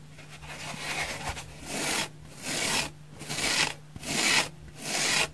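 Long painted nails scratch the flat face and edge of a single dry, soft, porous, palm-sized orange oval synthetic foam sponge held in the other hand. The result is a steady run of bright, dry rasping strokes that swell and fade about once per second. Brief quiet gaps between strokes leave only a faint low hum.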